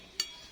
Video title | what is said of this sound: JANGAN SALAH MEMAHARI KERIS -- Gus Ahmad | ini juga bunyinya ting sekali